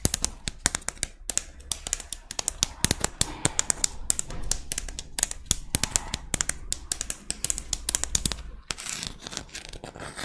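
Long red nails scratch and tap the ridges of a small, thin, curved pink-white ribbed scallop shell held in both hands. Rapid, sharp, bright clicks and taps sit over a soft scratchy rasp, with a faint low hum underneath that drops out near the end.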